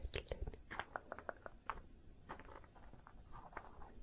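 Long nails scratch along the surface of a small light-wood cylinder with a band around its middle, held in both hands. Crisp, crunchy scraping clicks come in quick bursts, densest in the first second and a half, then thin out into softer, intermittent scratches.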